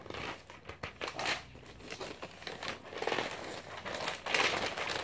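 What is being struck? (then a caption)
Glossy paper magazine pages. A glossy paper magazine is held open in one hand while fingers with painted nails riffle and flip through its stack of thin pages. Bright, crinkly paper rustles and soft flutters come in uneven bursts, swelling into a louder crackling crinkle near the end.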